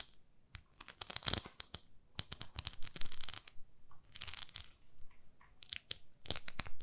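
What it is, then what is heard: Plastic facial cleansing brush. Long nails scratch and tap a small pink plastic facial cleansing brush pad, making quiet, dry, crackly scratches and short ticking taps. The bright bursts come in quick irregular clusters with brief pauses, and each dies away almost instantly.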